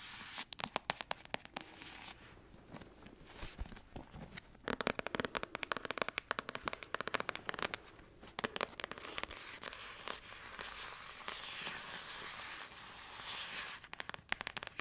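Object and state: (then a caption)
Paperback book tapped with nails. Long acrylic nails tap and scratch across the glossy cover of a thick paperback novel. Rapid, sharp clicking taps come in bursts, mixed with bright, crackly scraping that fades into short quieter stretches between flurries.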